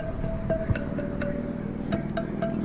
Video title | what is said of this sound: 2020 KTM 300 XCW TPI 20 Hour Review | You can tell by the different sound on them, kind of what the tightness is.